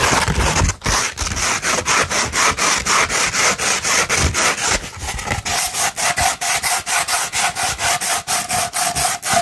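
Long red nails scratch up and down a sheet of sandpaper rolled into a hollow tube. The result is a bright, gritty rasping in quick, steady strokes of about two per second, each separated by a brief dip. Partway through, the strokes take on a slight hollow tone.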